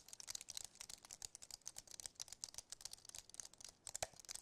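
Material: Plastic.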